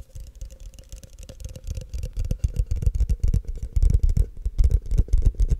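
Fingertips and short nails tap and scratch the outer walls of a tall, empty, hollow frosted translucent plastic cup held in both hands near the mic. Quick, irregular dull taps mixed with light scratching come through as soft, low thumps with little ring, growing louder and denser toward the end.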